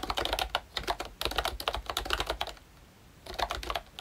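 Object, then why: Plastic membrane keyboard. Fingertips type on a pink plastic ROYCHE Disney Mickey Mouse retro membrane keyboard with round keycaps and a hollow body. Quick, bright, hollow plastic clicks come in a steady run, pause briefly, then resume for a few more keystrokes.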